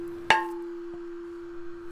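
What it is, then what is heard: Fiber-rich carbon laminate plate that rings like a bell. A single tap on a 6 mm (0.25") infused carbon fiber epoxy laminate tooling plate gives a sharp strike with a clear, high-pitched ring near 880 Hz and bright overtones, like a tuning fork or bell. The ring fades quickly over a steady low hum. The bell-like tone marks a high-fiber panel with lots of carbon and not much resin.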